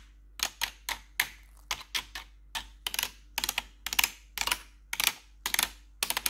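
Long pointed metal nail claws, worn over blue gloves, tap the keys of a black plastic RGB backlit computer keyboard. About nineteen bright, sharp clacks come in an irregular rhythm, some as single taps and others in quick clusters. Each one dies out almost at once against a quiet low hum.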